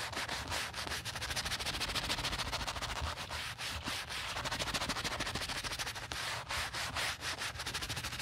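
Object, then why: Quilted leather handbag. A wooden-handled horsehair brush scrubs foam over a black chevron-quilted leather handbag in quick, continuous back-and-forth strokes. The result is a steady, bright, hissing rubbing sound with a soft low rumble underneath.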